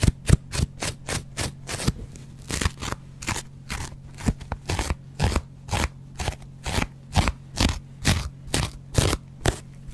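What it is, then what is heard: Dry foam sponge scratched with a razor blade. A small, dry yellow foam kitchen sponge with a green scouring pad is held in the hand and scratched with a metal double-edge razor blade in short strokes. About 35 quick, crisp, scratchy rasps repeat at an uneven pace, each a brief bright burst over a steady low hum.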